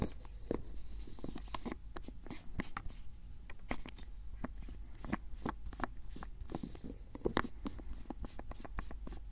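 Fingertips twist and tap the lid of a labeled white and grey plastic screw-cap jar as it is tilted and handled. A quiet, steady run of short, dry plastic clicks and taps with bright edges sits over a low, soft background rumble.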